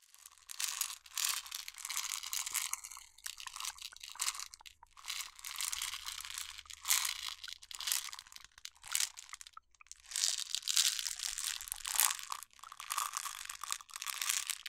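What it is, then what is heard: Glass jar of water beads. A medium glass jar with a yellow plastic lid and a paper label, filled with colorful water beads, is held in both hands while long nails scratch the label and tap the glass. The result is dense, bright, crunchy scratching and crinkling with quick taps, coming in bursts with brief pauses.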